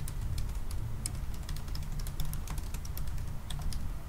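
Both hands type continuously with their fingertips on a silver aluminium laptop with black plastic keys. Rapid, light, bright key taps patter over a steady low hum, giving a continuous, even run of short clicks.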